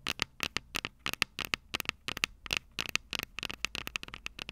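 Long purple nails tap rapidly on the small, hollow, silver metal microphone capsules of a Tascam DR-05 recorder. Each tap is a crisp, bright click with a metallic ping near 2.7 kHz that dies away almost instantly, with very little low end. The taps come in an irregular run of quick bursts and single hits.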